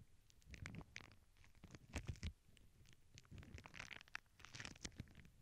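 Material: Plastic.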